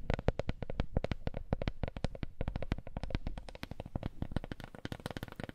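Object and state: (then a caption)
Wooden coaster. A wooden coaster is tapped in a fast, steady run of short, dry taps with almost no ring. Each tap has a low, hollow knock and a faint bright click, with slight dips and swells in loudness throughout.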